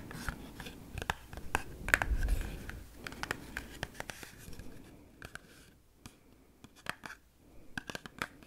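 A small, hollow Glee Gum cardboard box is held in both hands while long pink-painted fingernails tap and scratch its face and edges. Sharp, dry clicks with almost no ring come in irregular bursts over soft scratching, and faint whispering may be present underneath.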